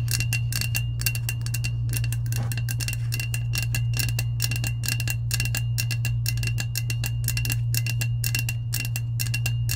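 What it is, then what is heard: Powder-coated stainless steel tumbler. Long acrylic nails tap and scratch the side of a hollow lilac powder-coated stainless steel insulated tumbler held close. Rapid, uneven clicks carry a bright metallic ring near 2.7 kHz over a steady low hum.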